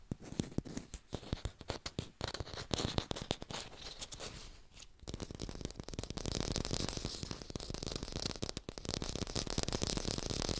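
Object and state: Plastic fake apple.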